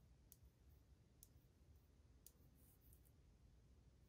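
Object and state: Ceramic wall tile, solid.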